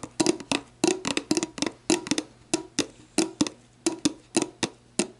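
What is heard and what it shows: Long black nails tap and scratch an empty, hollow, clear plastic sports drink bottle, first on its label and then on its ridged bottom. About twenty quick, hollow, woody clicks with a mid-pitched knock and bright edges sound in an uneven rhythm, each dying away almost instantly.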